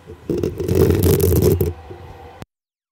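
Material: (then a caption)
Metal mesh. Long acrylic nails quickly scratch the hollow black metal mesh grille on top of a desktop microphone, producing a dense, boomy, low rumbling scrape. The scratching swells loud for about a second and a half, then continues more quietly before cutting off abruptly.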